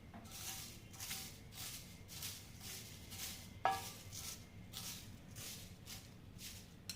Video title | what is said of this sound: १० मिनीटांत कसूरी मेथी घरच्या घरी- Kasuri methi recipe in Oven in 10 minutes WOW MOM | कसुरी मेथी कशी एकदम चुरचुरीत झालेली आहे कुरकुरीत आवाज येतोय